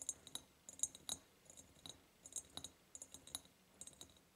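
Long purple fingernails tap quickly near the top and lid of a large, hollow, ribbed clear glass jar decorated with a ribbon and a ceramic heart. The taps come in irregular bursts of bright, high, glassy clicks that die away almost instantly, with very little low end.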